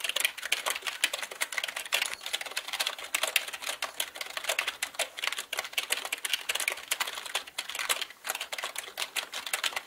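Both hands type with their fingertips on a black mechanical computer keyboard with plastic keycaps. A rapid, steady stream of sharp, bright clicks and clacks with almost no low end, each keystroke dying away almost instantly.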